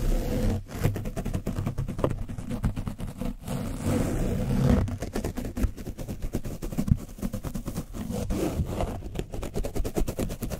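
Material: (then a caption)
Foam. A black foam brush on a wooden stick is scratched rapidly over the top and sides of an orange foam microphone windscreen coated with dried paint. It makes a dense run of quick, scraping strokes with a deep, muffled rumble. The sound is dominated by low frequencies, with little high-end detail.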